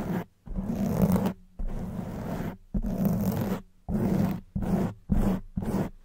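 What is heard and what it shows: Long white nails rapidly scratch and grip a black foam windscreen on a silver microphone. The result is a series of rough, dense, muffled scratching bursts separated by brief silences, heavy in the low end with a steady hum-like tone near 185 Hz.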